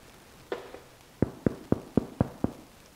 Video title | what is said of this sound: Friss dich dumm Brot - Ofenmeister - Pampered Chef® | Und so muss ein Brot klingen von außen. Genau richtig, perfekt.